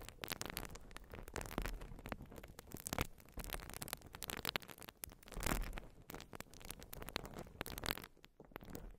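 A white open-cell urethane foam sponge is held over the microphone, scratched with long nails and squeezed. The result is a dense, continuous crackling and scratching texture with bright, brittle detail, broken by soft, muffled swells as the foam is squeezed.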